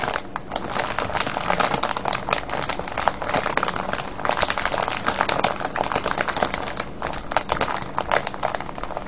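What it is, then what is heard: Cellophane bag of wrapped candies. Hands press and crush a full, clear plastic cellophane bag of wrapped candies tied with a ribbon, making dense, continuous crinkling and crackling. The rustle is bright and broadband, a steady stream of sharp snaps with no pauses over the nine seconds.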